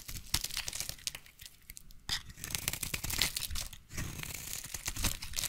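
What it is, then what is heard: Bar soap being shaved with a blade. A utility knife blade scrapes and shaves a solid, hand-sized light blue bar of soap into curls. The result is a dense run of bright, crackly scraping and tearing textures with quick crunchy strokes, broken by short quieter gaps.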